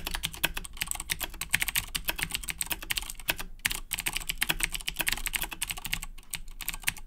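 Both hands type continuously with their fingertips on a black Razer BlackWidow 2010 Edition mechanical keyboard with Cherry MX Blue switches and plastic keycaps. A rapid, uneven stream of bright, crisp clicks and clacks fills the clip, each keystroke dying out almost instantly, with only a brief pause near the middle over a faint low hum.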